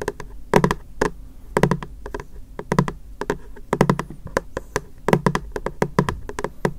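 A medium white, frosted, translucent, hollow plastic storage box is held in both hands and tapped rapidly on its face with fingertips and short nails. Quick clusters of dull, hollow thunks sit low in pitch, overlaid with bright, clicky nail ticks. Each tap dies away almost instantly.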